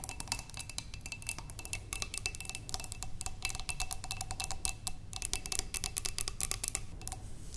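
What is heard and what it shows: Long nails tap rapidly on a large clear glass vase, partly filled with water with green stems inside, resting on a wooden table. The taps are quick, bright clicks that die away almost at once, with a faint glassy ring held beneath them and a steady low hum underneath.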